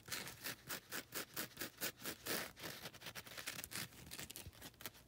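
Long red nails scratch across the abrasive face of a grey, gritty foam nail buffer block. The result is a quiet run of quick, dry, bright scratching strokes in an uneven rhythm, each stroke a short raspy burst that stops almost at once.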